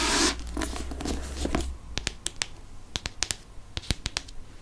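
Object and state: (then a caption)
Hardcover book. Fingertips and nails tap the front cover of a *Chamber of Secrets* hardcover book, a solid paper-covered board held up to the microphone. A soft, scratchy rustle with a low rumble gives way to a string of sharp, dry, bright taps that die away almost instantly.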